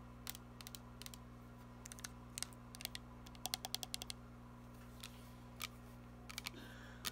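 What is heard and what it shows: Long nails slowly tap and scratch a filled, glittery plastic body mist fragrance spray bottle. Sharp, bright clicks and short scrapes come in an irregular series, some in quick clusters, over a steady low hum.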